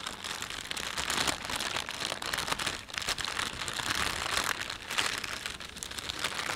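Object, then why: Thin plastic shopping bag. Fingertips rub and crumple the thin film of an empty panda-print plastic shopping bag. A steady, dense crinkling rustle fills the clip, bright and crackly with very little low end, rising and falling in small bursts as the plastic folds and shifts.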